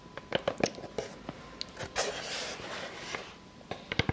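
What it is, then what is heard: Wooden tree slice tapped and scratched with fingernails. Long fake nails tap and scratch a solid, roughly plate-sized round slice of natural wood with its bark edge still on. Sharp, dry clicks with almost no ring come in a quick series, broken up by a longer scratchy scraping stretch in the middle, before a few final taps.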